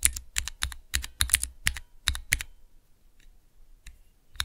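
Fingertips rapidly press and type on a small, hollow plastic mechanical keyboard switch tester with clear plastic keycaps over Cherry MX switches. A quick run of sharp, bright clacks with a low thud under each press dies away almost at once. The typing stops for a moment, then a couple of clicks return near the end.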